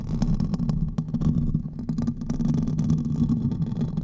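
Fingernails of both hands scratch quickly across the hollow metal mesh head of a silver condenser microphone. The result is a dense, continuous rumbling scrape, heavy in the low end around 160 Hz, scattered with sharp crackling clicks.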